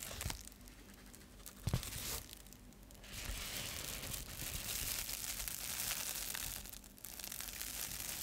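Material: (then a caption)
Metal foil. A metallic foil bubble insulated mailer is held up and crinkled while fingers scratch across its surface. Bright, dense crinkling and scratchy tearing textures rise and fall, with a sharper crunch near the start before a steadier stretch of rustling.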